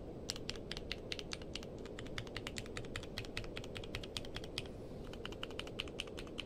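Fingertips type steadily on a compact mechanical keyboard with a purple case and white and dark plastic keycaps, resting on a blanket. A rapid, even stream of short, bright clacks sits over a constant low rumble, each keystroke dying away almost instantly.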